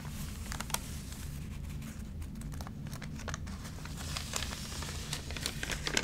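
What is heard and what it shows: A hand turns a page of an open, water-damaged magazine with thin, water-wrinkled paper, then rubs the crinkled pages with a flat palm and fingertips. Sharp, bright crinkles and crackles rise over a steady low rumble, growing busier and louder toward the end.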